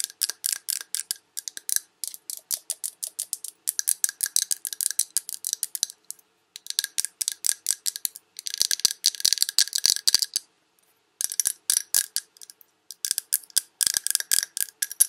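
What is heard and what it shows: Long red nails tap fast around a large glass Yankee Candle jar that has a paper label and is full of wax. The sound is a stream of crisp, bright clicks in rapid bursts separated by short pauses. Each tap dies away almost instantly, with no low thud underneath.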